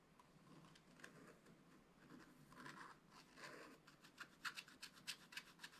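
A wooden stylus scratches lines along a fish outline on a black wax-coated scratch-art card in a spiral book. Quiet, dry, continuous scratching rasps through the first half, then turns into sharper, brighter strokes that come in quick, uneven bursts toward the end.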